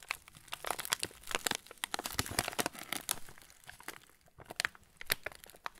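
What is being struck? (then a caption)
Cracker packet in plastic film wrapper. A full yellow plastic-film TUC cracker packet is turned in the hands while fingertips rub and squeeze the wrapper. The result is a dense run of sharp, bright crinkles and crackles with dry, quick pops and brief quieter gaps, and almost no low end.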